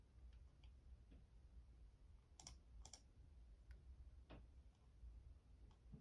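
Fingertips of one hand press and tap the keys of a black, full-size Logitech membrane keyboard with a hollow plastic body, resting on a desk. Quiet, sparse clicks and taps with short, bright ticks sound over a steady low background rumble. Each keystroke dies away almost at once.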